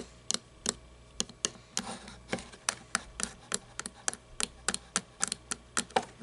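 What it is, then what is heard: Plastic toy truck, tapped. Long nails tap and scratch the body and wheels of a small red toy monster truck with plastic and chrome parts, including a chrome exhaust and plastic tires, resting on a table. About twenty sharp, bright clicking taps are heard, spaced apart, with soft scratchy rustles between them. Each tap dies away almost at once, leaving a quiet, dry clatter.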